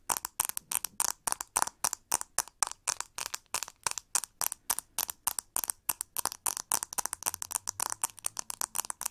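Long nails scratch and tap the textured plastic back and ribbed handle of a pink plastic hair brush. Dozens of quick, dry, bright scratching strokes and taps come in a steady rhythm, each one stopping almost instantly with no ring and almost no low end.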